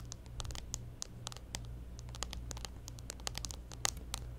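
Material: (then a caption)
Plastic. Long nails scratch and tap along the top edge of a clear plastic case on a smartphone held up at an angle. Quick, dry, bright clicks and scrapes come in an uneven patter over a steady low hum, each dying away at once.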